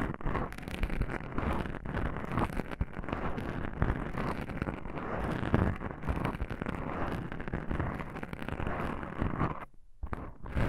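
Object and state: Foam microphone windscreen being scratched.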